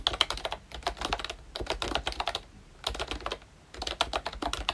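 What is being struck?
Plastic membrane keyboard.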